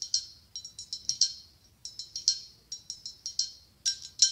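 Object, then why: Blown-glass pumpkin ornament. Long acrylic nails tap quickly on the side of a hollow, ribbed, white blown-glass pumpkin. About 20 bright, sharp clicks come in uneven bursts, each with a short glassy ring that fades fast, and nothing in the low end.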